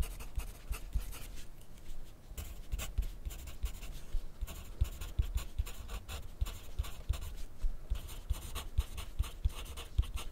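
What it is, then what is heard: Pencil writing on paper over a plastic clipboard. A yellow graphite pencil scratches across white grid paper clipped to a white plastic clipboard on a wooden desk, writing in steady strokes while the left hand rests on the sheet. The sound is a continuous dry, papery scratching with many short, sharp ticks and low, dull knocks from the pencil against the clipboard.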